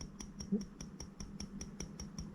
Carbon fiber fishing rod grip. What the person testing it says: 약간 좀 상당한 소리가 나죠 금속 소리도 아니지만